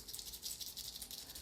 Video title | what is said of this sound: It’s A… Is His Snake Transgender? | they just are loose connections and that's what makes them shake and rattle like that